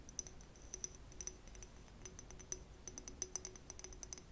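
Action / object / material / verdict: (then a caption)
tap / small glass flask / glass / none. Long acrylic nails tap and click along a small, clear, empty, hollow conical glass flask. The result is a quiet, irregular stream of short, bright clicks with a high glassy ping. Each tap dies away almost instantly over a faint low hum.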